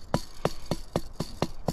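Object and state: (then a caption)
Hollow rock. The sides of a rock are struck in seven quick, evenly spaced knocks that sound hollow, suggesting an empty interior. Each knock is short and dry with a low, woody body around 145 Hz and almost no ring, with faint background hiss between hits.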